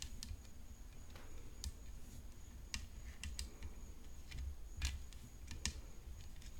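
Long nails tap on a hollow composite tennis racket frame decorated with rhinestones, resting on black cloth. The taps are short, bright clicks scattered irregularly over a low rumble and a faint steady high whine. Each click dies away almost instantly.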